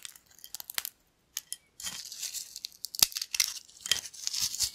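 Thin, flat, crispy yellow corn chips spread on a black plate are snapped and crushed between fingertips. Bright, dry crackles and crunches come in quick irregular bursts, with a short silent pause near the start before a longer stretch of dense crumbling.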